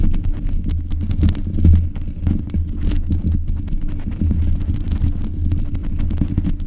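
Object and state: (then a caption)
Metal microphone grille being scratched. Long nails scratch the top of the hollow mesh grille on a black metal desk microphone, producing a dense, continuous low rumble of rapid rasping and thumping. The sound sits almost entirely in the deep bass, centered around 82 Hz, with a steady level and no bright top end.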